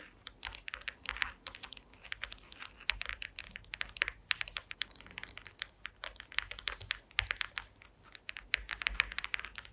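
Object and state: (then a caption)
Woven wooden slat mat. Long green acrylic nail tips tap rapidly on a woven wooden slat mat, close up. Dense, quick, dry clicks with almost no ring, bright and crisp with most energy in the upper range, continue steadily with small bursts and pauses throughout.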